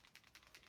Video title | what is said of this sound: Stamp and Chat Live November 27th 2020 - Stampin' Blends markers and using them with Outline Images | you may be able to hear that ball bearing inside what that's doing is distributing the tiny little mica particles